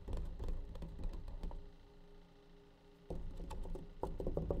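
Fingertips and nails tap the side and lid of a clear, hard plastic tub of blue nitrile gloves, which is hollow and partly full. The rapid, uneven taps sound dull and low, each dying away almost at once. Midway the tapping eases into a quieter stretch with a faint steady hum before brisk tapping resumes.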